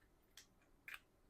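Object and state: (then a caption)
Small gold bar loose inside its packaging. A parcel holding a loose 10 g gold bar with its certificate is shaken, and the bar moves inside the packaging. Two short, bright clicks are heard about half a second apart, each dying away almost at once. The knocking confirms the bar is loose inside.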